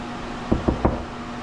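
Three knocks on a drywall wall over a wood stud give short, solid, low thuds rather than a hollow, bouncy sound, showing a stud behind that spot.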